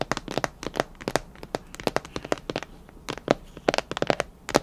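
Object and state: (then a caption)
Plastic food container. Long nails tap quickly on a clear plastic food container with a clip lid, filled with colorful candy. Each tap is a short, bright plastic click, some with a faint hollow ring, over a quiet background.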